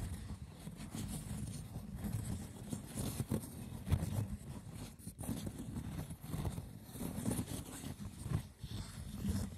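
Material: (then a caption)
Seagrass. Fingertips scratch the textured lid of a hollow, braided woven seagrass wicker box. The result is a continuous, rough, low rustling and scratching with a deep body and faint bright crackle on top, rising and falling in short bursts.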